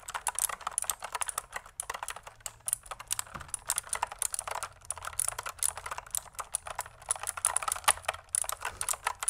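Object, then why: Plastic mechanical keyboard. A pink full-size plastic mechanical keyboard with a hollow body, pink and white keycaps and a pink cable is held up and typed on with long manicured nails and fingertips. A rapid, steady stream of crisp key presses and clacks has short, bright, high-pitched clicks with almost no ring and very little low end.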